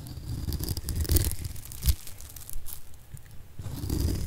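A solid oval mint-green bar of dry soap, held in the hand, is scraped and cut with a metal blade, shaving off flakes. Dry, crisp scraping and crunching comes through as a run of short rasps. The rasps are dominated by low, thudding body, with brief brighter bursts at each stroke.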